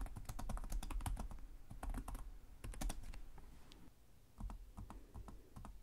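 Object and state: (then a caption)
Plastic laptop keyboard. One hand types with its fingertips on the plastic chiclet keys of a black laptop with a hollow chassis, in slower taps. Each key press is a short, crisp click over a dull, low thud from the body. Bursts of quick taps alternate with brief pauses, and the sound stays dry with almost no ring.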